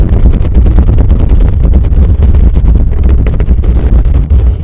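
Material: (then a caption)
Metal mesh. Fingertips and nails scratch and rub quickly across the top of the hollow metal mesh grille of a black condenser microphone. The result is a loud, nearly continuous boomy rumble centered deep in the lows, with dense, rapid scraping strokes blending together and almost no high-end content.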